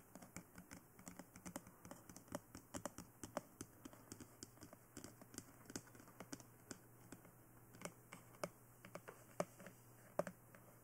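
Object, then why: Hard plastic dummy head microphone. Long nails tap and scratch around the ears and top of a life-size, glossy black hard plastic dummy head (BE-1) fitted with ear microphones. The result is a soft, irregular stream of dozens of quick, dry clicks with a bright edge and almost no ring. A faint, steady low hum runs underneath throughout.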